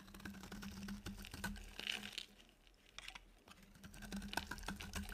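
A utility knife blade shaves a dry, solid, pale yellow oval soap bar, making rapid crisp scraping and ticking sounds with bright edges over a steady low hum. The shaving quiets briefly in the middle, then picks back up with sharper, closely spaced clicks.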